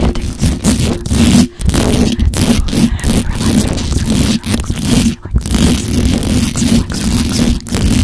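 Long pointed acrylic nails on both hands scratch fast across the hollow metal mesh grille of a black microphone. The result is a dense, continuous gritty rasping, heavy in the lows, with a steady underlying tone and a few brief pauses between strokes.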